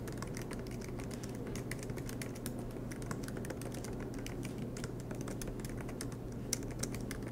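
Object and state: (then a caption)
Laptop keyboard with plastic keys. Fingertips tap out a continuous run of typing on the black plastic keys of an aluminum MacBook Pro laptop. Short, bright, dry clicks rise over a steady low hum, with a few slightly sharper taps near the end.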